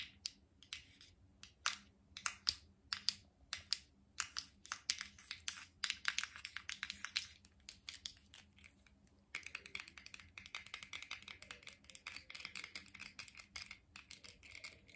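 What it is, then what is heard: Plastic cosmetic jar tapped with rings. A small, hollow, round black plastic cosmetic jar with a gold-coloured lid is held in one hand while fingertips, medium nails and metal rings tap and scratch its lid and sides. Sharp, bright clicks come in quick, uneven bursts. After about nine seconds they give way to a denser stream of faster taps and scratchy rubbing in a quiet space.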